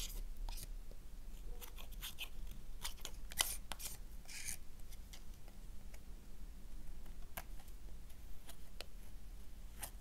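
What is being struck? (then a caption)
Thin slice of soap scraped with a knife blade. A thin, flat slice of black soap held in the hand is scraped with a gold knife blade, giving short, crisp scratching clicks with bright high-end rasps over a low, steady background hum.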